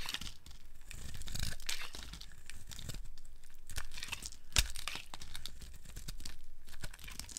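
A solid, opaque, rounded yellow bar of dry soap is held in the hand and carved with a metal blade into crumbly strips. It makes a steady dry scraping and crinkly tearing sound with a low rumble underneath and bright crumbly crackle on top. A sharp crack comes about two-thirds of the way through.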